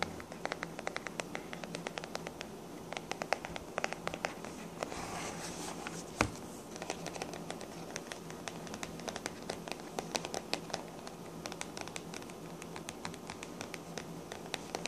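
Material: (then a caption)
Cardboard, paper. A small blue hardcover book or notebook with a printed paper cover made to look like a TARDIS police box, white page edges showing, is held upright and then laid flat on a table while long black-painted nails scratch and tap it. The result is a quiet, steady stream of dry scratching mixed with rapid, crisp, bright taps, one of them noticeably louder, all over a low, constant hum.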